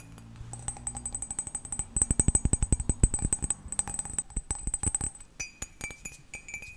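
A cat-shaped ceramic mug is tapped rapidly, producing a quick run of bright, short clinks with a high ringing overtone. Low thuddy knocks sit under them, and the rhythm shifts near the end to a different, higher ping.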